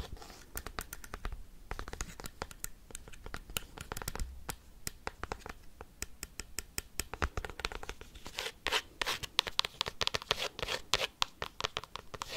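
A cork coaster is tapped and scratched quickly with paperclips, making a dense run of sharp, bright clicks and scratchy rasps with almost no ring. The taps come in fast bursts that grow louder and busier in the second half, over a faint low rumble.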